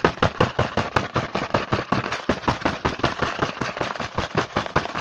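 A printed cardboard Hanuta chocolate bar box is held in hand while fingertips rapidly tap and scratch across its front face. The result is a fast, uneven stream of dry, papery clicks and rasps with broad, bright texture and almost no ring after each hit.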